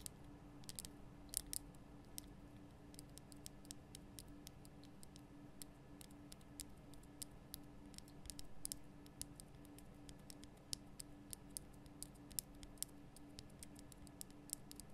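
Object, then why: Rock-salt lamp block. Long nails tap the sides of a large, lit pink Himalayan rock-salt lamp, a solid rough crystal block. Many quick, bright, dry clicks land in irregular bursts. They sit over a faint, steady low hum at a soft overall level.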